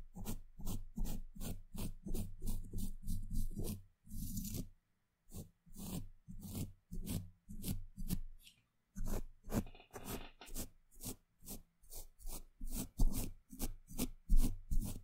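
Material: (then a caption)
Steel mesh. The tip of a small paintbrush with a blue handle rubs and scratches across a hollow woven steel mesh microphone grille. The result is a quick, uneven run of short, dull, swishing scrapes, heavy in the low end, with a few brief pauses and one longer, softer stroke.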